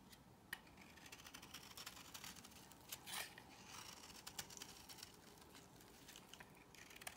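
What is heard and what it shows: A solid cream soap bar held in the hand is shaved with a metal blade, with a brief pause in the middle while the bar is shown without the blade. The clip is a quiet run of crisp, bright scraping and crackling ticks with short, dry attacks. Several sharper clicks stand out above a soft, steady hiss.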